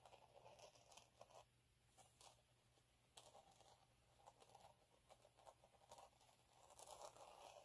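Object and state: Glitter sheet being scratched.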